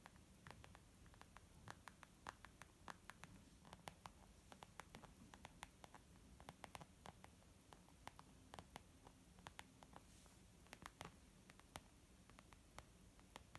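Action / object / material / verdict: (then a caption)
tap / leather makeup bag / leather / none. Fingertips tap on a leather makeup bag in quick, irregular bursts, making soft, dry clicks that die away almost instantly. The taps sit over a quiet, steady low rumble, with occasional brighter ticks standing out.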